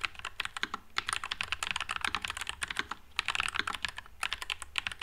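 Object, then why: Low-profile mechanical keyboard, plastic keycaps. Fingertips type continuously on a white low-profile Nuphy Air96 mechanical keyboard with Wisteria switches and plastic keycaps. About 26 short, bright clacks come in quick runs, with brief pauses near the three- and four-second marks. Each keystroke dies away almost at once and has little low end.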